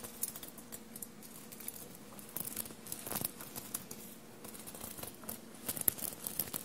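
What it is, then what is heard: Sequin-covered fabric shirt. Long blue-painted nails tap and scratch a dark blue fabric shirt covered in small metallic silver paillettes, bunched on a table. Quiet, bright clicks and crisp rustling ripple across the studded surface, with a few sharper taps standing out near the end over a faint steady low hum.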